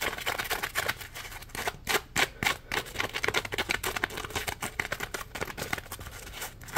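Fingertips flick and scratch the ridged side of a yellow, palm-sized, solid polymer foam Scrub Daddy sponge held upright. Rapid, irregular, crisp scratchy taps with bright, papery texture and almost no ring follow one another closely, with a few louder flicks standing out.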